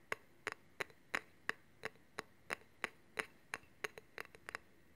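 Fingernails tap and scratch a long, solid steel honing rod held horizontally, along both the rod and its handle. There are about 17 short, dry clicks at an uneven pace, bunching together near the end. Each has a bright metallic tick centred near 1.9 kHz and almost no ring.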